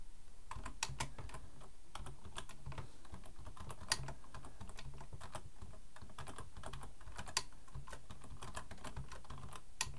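Both hands type with their fingertips on a black plastic full-size computer keyboard resting on a wooden desk. The result is a steady, rapid patter of short, bright key clicks over a constant low hum, with a few noticeably louder keystrokes standing out.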